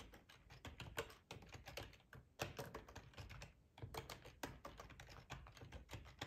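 Fingertips of both hands type steadily on a black plastic ergonomic split computer keyboard with a hollow housing, lying on a tablecloth. Quick, dry clicks come in uneven bursts with brief pauses, each tap short with a low, hollow thump under a brighter clack.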